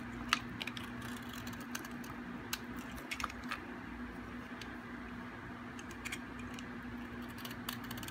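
A metal blade shaves the edge of a solid, hard, dry white bar of soap, sending flakes piling up. Quiet, crisp scraping clicks and brief bright ticks come in uneven bursts over a steady low hum that runs throughout.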